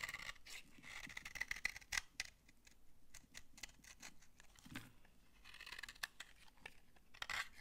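A utility-knife blade scrapes shavings off a solid, dry brown laundry soap bar held in the hand. The sound is a run of quick, crisp, dry scraping strokes with a bright, crunchy edge. Each stroke cuts off short with no ring, over a soft, quiet background.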